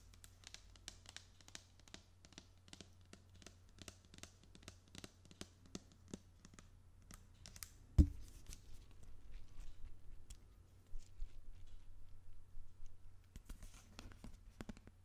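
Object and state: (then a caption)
Plastic spray bottle. Long pink-painted fingernails tap and scratch a hollow, medium-size white plastic spray/pump bottle with a printed label, held in both hands close to the microphone. A steady run of quick, light clicking taps is followed by a single louder knock, then stretches of scratchy rubbing, with a few taps returning at the end. A constant low hum sits underneath.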